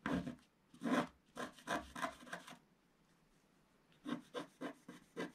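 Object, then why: Wax-coated scratch art paper with wooden stylus. A wooden stylus scratches the wax coating at the bottom of the picture on a flat page of scratch art paper. It makes eleven short, dry, rasping strokes: a cluster of six in the first two and a half seconds, a quiet pause, then five more near the end. The strokes are soft, with a bright, broadband scratchy texture.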